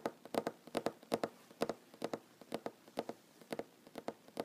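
Short fingernails and fingertips tap on a solid wooden tabletop in quick, uneven bursts, often in pairs or triplets. Each tap is a dry, hollow knock centred in the low mids with a bright click on top, dying away almost instantly.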